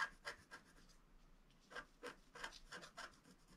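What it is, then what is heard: Scratch art paper being scratched. A wooden stylus, held by the fingertips, scratches and hatches a flat black sheet of wax-coated scratch art paper. Quiet, bright, raspy scrapes come in short, irregular strokes with a brief lull in the middle, and each stroke dies away almost at once.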